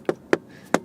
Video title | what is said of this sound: [クラウン]加速感と後部座席の快適性。燃費みながら試乗レビュー/トヨタ・クラウンクロスオーバー（AZSH35） | เสียงแน่นมากเมื่อเคาะเสาC